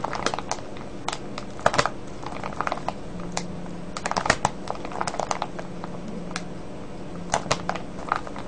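Fingertips squeeze and crinkle a full, clear plastic cellophane bag of foil-wrapped candies. Irregular bursts of short, sharp, bright crackles scatter across the clip over a quiet, steady low hum. Each crackle cuts off almost instantly with no ring.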